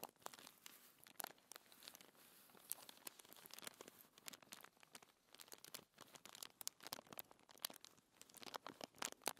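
Fingertips and long nails scratch and rub a flat, thin white paper sheet lying on a table. The result is a steady, bright papery scratching and crinkling with many quick, sharp peaks and almost no low end.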